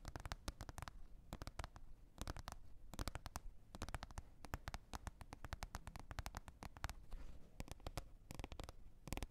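Long red nails tap and scratch a green plastic container lid, making quiet, dry clicks in quick bursts and runs. Each tap is short with almost no ring, and a soft low rumble sits under faint scratchy texture between the clusters.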